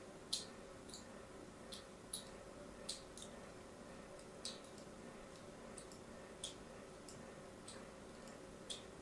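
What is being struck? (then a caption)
Bar of soap scored with a thin metal blade. A palm-sized solid bar of orange-and-white striped soap, held in a hand with long manicured nails, is scratched and cut with a thin metal needle or blade in repeated scoring strokes. Each stroke makes a short, bright tick that fades almost at once. The ticks come at uneven intervals over a low, steady background hiss.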